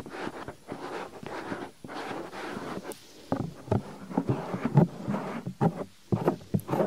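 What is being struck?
Silicone ear cover of a binaural microphone.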